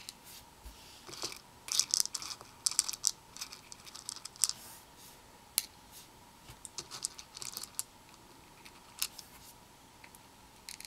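Black tweezers poke and stir through small hollow plastic perler fuse beads, white and red, in a red plastic bowl that is partly filled. The loose beads rattle against each other and the bowl in quiet, bright, irregular clicks and brief scrapes over a faint steady hum.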